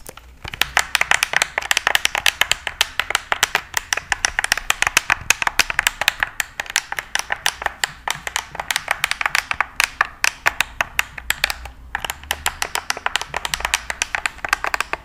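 Fingertips and nails tap the blade of a large, flat, stainless steel cleaver with a black handle, its thin solid metal held up close to the microphone. A fast, steady run of short, bright, dry ticking taps centres around 2.5 kHz with almost no ring, pausing briefly near 6.5 and 12 seconds.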